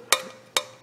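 A folded, laser-cut magnesium sheet part, very light and almost like plastic, is tapped three times. Each tap is a sharp, bright click that dies away quickly with a faint, thin metallic ring, confirming it is metal.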